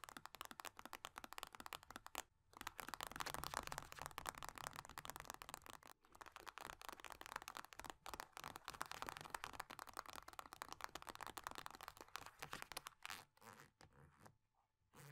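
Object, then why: Metal-laminate hand cream tube. Long dark nails rapidly tap and scratch along a small, flattened metal-laminate hand cream tube lying on a soft cloth. The tube's crinkly surface gives a dense stream of dry crackling clicks and rasping scrapes centered in the midrange with a bright edge. The sound pauses briefly around 2.4 and 6 seconds and thins out toward the end.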